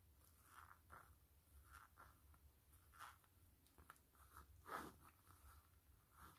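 Long acrylic fingernails tap and scratch the flat surface of a closed, hollow BTS Black Swan glasses case made of black textured faux leather (PU) with a blue band, lying on a foil mat. About seven soft, separate taps and scratchy strokes stand out, with dull clicks centered around 1.3 kHz and brief brighter scrapes over a low background hum. The sound stays quiet and close, and each tap dies away quickly.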